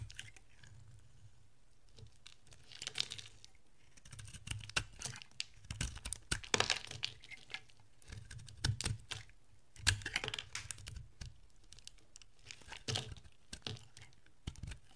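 A utility-knife blade carves chunks off a solid bar of yellow dry soap, and the bar breaks into pieces. Crisp, dry scraping and crackling come in bursts of sharp clicks and snaps that stop quickly with no ring, set against quiet pauses. The sound is bright and crunchy over a soft low thump.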